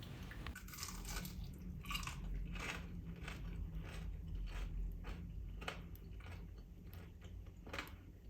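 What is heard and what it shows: A small homemade rösti potato pancake is broken or bitten into, giving a series of sharp, bright crunches over a steady low rumble. The rösti is crispy.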